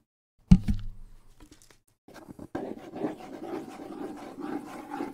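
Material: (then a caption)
Wood. Fingers scratch and rub the wooden side of a small, hollow wood-and-skin bongo drum held low near the microphone. A sharp low thump with a brief hum opens the clip, then a short quiet gap. From about two seconds in, a steady dry scratching and rubbing continues to the end.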